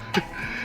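A finger flicks the thick solid steel bumper of a 1972 Toyota Corona RT81, giving a single short metallic tick with a brief, quickly fading ring. The bumper sounds solid and dense, and the flick hurts the finger. Faint background tones continue throughout.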